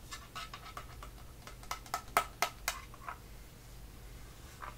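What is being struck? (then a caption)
Small flat metal tin of crayons. Fingertips and nails tap and handle the lid of a small, flat, closed blue printed metal crayon tin held in both hands over white paper. About fifteen quick, irregular, dry metallic ticks are heard, with a hollow tinny tone around 1.3 kHz and a bright edge. The loudest taps cluster in the middle of the clip, and each dies away almost at once.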